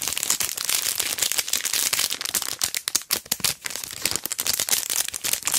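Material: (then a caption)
Plastic. A long pearl sticker strip in a flat, clear plastic sleeve is held upright and then horizontal while fingertips and long dark nails squeeze and crinkle it. The result is a dense, continuous, bright crinkling of plastic with quick crackly snaps and almost no low end, easing briefly about halfway through before picking back up.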